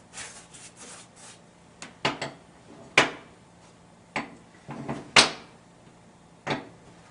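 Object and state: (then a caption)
Baked Easter bread loaf, hollow (fully baked). A freshly baked paska (Easter bread) loaf, just out of the oven, is tapped several times, giving short, dry, hollow knocks with a bright edge that die away almost at once, after some soft rustling at the start. The hollow sound shows the bread is fully baked.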